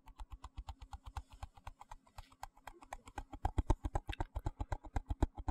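Fingertips and nails rapidly tap and scratch a small, hollow, translucent white plastic box held in one hand. About 39 quick, dull, hollow taps land in a steady run, each dying away almost instantly, with faint scratchy ticks between them. The tapping grows noticeably louder after about three seconds.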